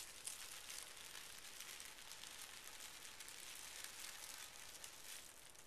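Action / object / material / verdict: scrape / tissue paper sheets / paper / none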